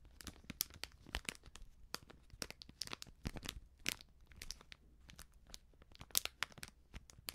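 A small, sealed, filled plastic-foil baking soda sachet is held up and crinkled and scratched with long nails. It makes a quiet, continuous stream of bright, crisp crackles and sharp scratchy ticks, with a faint low hum underneath.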